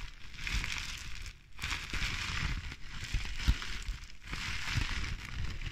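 A clear plastic bubble wrap sheet full of air bubbles is squeezed and crinkled by hands as it is moved beside the mic. Its bright, hissing crinkle comes in waves separated by brief pauses, over a low rumbling handling noise with occasional sharper crackles and pops.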